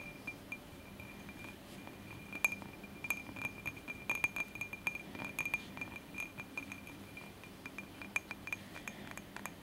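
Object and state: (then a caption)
Glass candle holder. Tapping on a glass candle holder produces a steady run of bright, short glass clinks with a clear ringing tone near 2.4 kHz. The clinks are separated by brief pauses over a faint low background hum.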